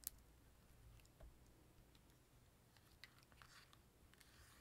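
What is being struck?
Plastic handheld game console casing.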